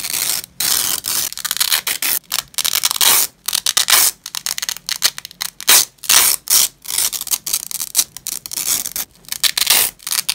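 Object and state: Nylon hook-and-loop strap being peeled apart.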